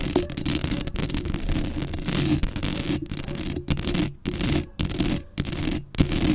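Long acrylic nails scratch across a black metal mesh microphone grille up close. The result is a dense, continuous rasping scratch with a heavy low rumble and a bright hiss, broken by a few brief pauses between strokes.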